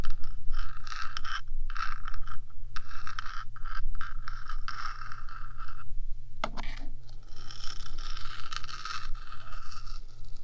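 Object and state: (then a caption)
Nails scratching a metal microphone body. Long nails scratch across the top of the small, hollow, rectangular metal body of a 3Dio binaural microphone, making a continuous scraping and scratching sound. A bright, rasping texture with a ringing tone in the mid range runs over a steady low hum. Near the middle, a brief pause is followed by a sharp scrape before the scratching resumes.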